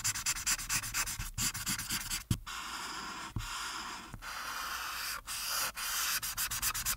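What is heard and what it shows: A marker's felt tip is rubbed back and forth over the top right background of a flat printed paper coloring page, coloring it orange, while one hand holds the sheet down on a dark backing. Bright, hissy, scratchy strokes come in quick rhythmic bursts at the start and end, with a longer steady rub in the middle and a sharp knock around two seconds in.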